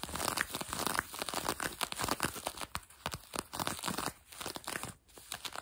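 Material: Denim.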